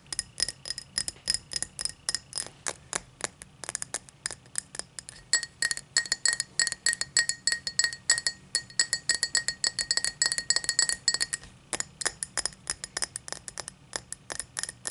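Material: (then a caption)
Crystal glass. Long matte black fingernails tap and click rapidly on a tall, empty cut-crystal highball glass lying on a towel. The taps come in quick, irregular bursts of bright, glassy clinks with very short ring and almost no low end.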